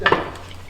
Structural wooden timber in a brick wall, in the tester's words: c'est pas pourri mais ça bouge